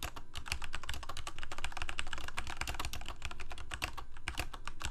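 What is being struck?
Plastic mechanical keyboard keys.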